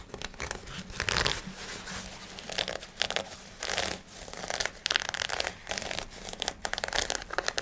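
Fingertips and nails scratch and rub a black cotton fabric garment, likely shorts, along the fabric and its waistband. Bursts of dry, bright, crinkly scratching come and go in uneven rhythm, with a soft rustle between them and no ring after each stroke.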